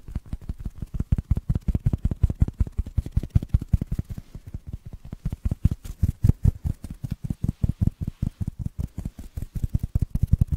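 A small black foam block that looks solid and porous is held in one hand while the fingertips and nails of the other hand tap and scratch it. The result is a quick, uneven stream of soft, dull, low thuds with almost no brightness. Each tap dies away instantly, and faint scratching runs between the taps.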